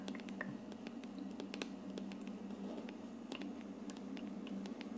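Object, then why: Plastic aroma diffuser dome. Long dark nails quickly tap and scratch across the hollow frosted plastic dome of an aroma diffuser. Short, bright clicks and scratchy rasps come in a rapid, uneven stream over a quiet, steady low hum, each sound dying away almost at once.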